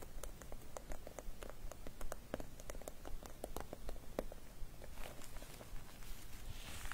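Long dark nails tap and scratch a small clear plastic (vinyl) travel cosmetic pouch with pink metallic trim and loose glitter inside, lying flat. Quick, irregular crisp clicks repeat over a low background rumble, then give way to a softer, brushing scratch near the end.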